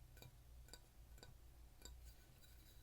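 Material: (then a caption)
Fired clay. A bisque-fired clay pottery piece, fired once in a kiln so it is lighter, slightly pink and changed in texture, is tapped lightly by hand. Each short, bright tap gives a glassy, clinky tick that dies away almost at once, over a steady low hum. The fired piece rings far clearer than the dull thud of unfired air-dried clay.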